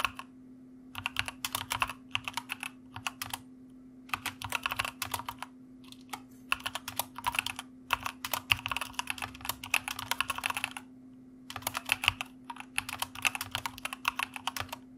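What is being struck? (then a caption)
Mechanical computer keyboard with plastic keycaps. A white mechanical computer keyboard with plastic keycaps is typed on with the fingertips of both hands. Bright, quick clacks come in fast bursts separated by short pauses, and each keystroke dies away almost at once. A faint steady low hum runs underneath throughout.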